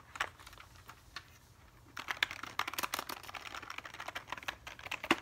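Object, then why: Plastic computer keyboard. A black plastic computer keyboard held upright is tapped and scratched across its keys by fingertips. Sparse, quiet clicks in the first two seconds give way to a denser run of sharp, bright clacks and scraping. Each click dies away almost instantly.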